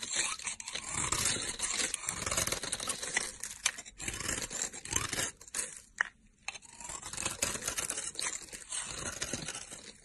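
A utility knife blade scrapes and carves a solid pink, rectangular, embossed soap bar held in the hand, shaving it into powdery chips. The sound is a steady stream of dry, bright, crunchy scraping strokes, with a brief near-silent pause around the six-second mark before the carving resumes.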